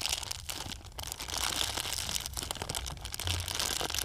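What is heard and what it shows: An empty, thin, transparent plastic bag held close to the camera is crumpled by hand. It makes a steady, dense crinkling and crackling that is bright and high, with almost no break over the four seconds.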